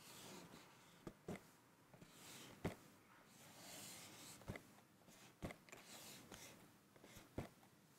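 A medium-sized printed cardboard rice puffs cereal box, hollow and apparently filled with cereal, lies flat on a checked tablecloth and is tapped and scratched with fingertips and nails on its front face. Short, sharp, dry taps stand out over soft, hissy scratching and rustling, and each tap dies away almost at once.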